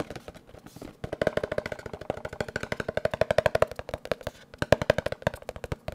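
A small, hollow, blue printed cardboard box for an HD webcam is held in one hand near the mic and tapped rapidly with the fingertips. Dense runs of quick, dry, hollow taps with a woody tone around 600 Hz come in uneven bursts, some louder than others, each dying away almost instantly.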